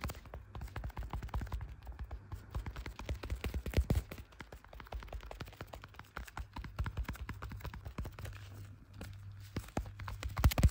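Black leather-gloved fingers tap quickly on the back of a clear plastic case on a handheld blue iPhone. The result is a dense run of short, dull, low thuds with almost no ringing, over a steady low hum.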